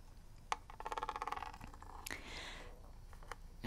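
Long nails scratch across the ridged grip of a hollow plastic NES game cartridge, producing a rapid, evenly spaced run of ticking clicks around 860 Hz, then tap its label. Sharp taps stand out against a soft hiss, with a brighter brushing swish in the middle.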